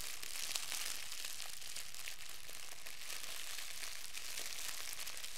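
A fist-sized ball of clear, thin plastic wrap is crumpled between both hands with the fingertips. It makes a steady, quiet stream of bright, crackling crinkles with a few sharper snaps, holding an even level throughout.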